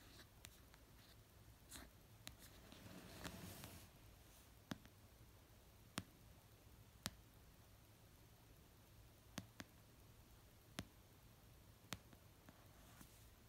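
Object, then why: Paperback book cover. Fingernails tap and scratch the cover of an orange paperback novel resting on a blanket. Sharp, dry taps come slowly and far apart over a steady low hum, each dying away almost at once, with a brief soft scratching rustle early on.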